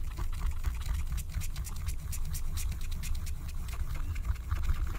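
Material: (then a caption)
Wax-coated paper. A wooden stylus, held in a hand with long painted nails, scratches the black coating off a flat, thin Care Bears scratch-art card of wax-coated paper resting on a table, in quick strokes. The result is a fast run of short, dry, bright scratches over a steady low rumble.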